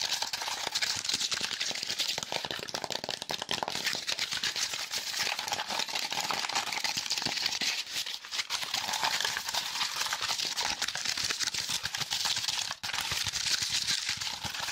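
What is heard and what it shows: A small pleated piece of brown corrugated cardboard with hollow flutes is held in the hands and tapped and scratched rapidly with fingertips and nails. It makes a dense, continuous rattly crackle that is bright and high with almost no low end. The rattle runs steadily for about fifteen seconds, with a brief pause near the end.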